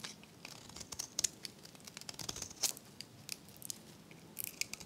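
A metal blade scrapes crunchy flakes off a dry, varnished, solid oval hot-pink soap bar held in the hand. It makes a quick series of crisp, bright scratching crunches and crackles with almost no low end and no ring.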